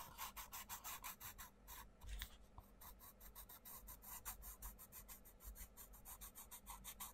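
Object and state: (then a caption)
Pencil colouring on a paper page. A wooden pencil scratches and rubs colour onto a thin paper page of an open colouring book, The Mindfulness Colouring Book, lying on a table, while the other hand's fingers press the page flat. The clip is a steady run of quick, evenly spaced, dry rasping strokes with bright, papery texture. There is a brief, rougher break near the two-second mark before the rhythmic scratching resumes.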